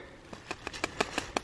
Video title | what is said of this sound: Starting up the Ram Pump 2019 | just tapping right here and it's hollow